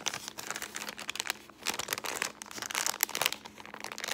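A folded brown kraft paper bag is scratched with long painted nails and crinkled between the fingers. Dense, bright crinkling and scratchy rustling come in quick overlapping bursts with no low end, each burst dying away instantly.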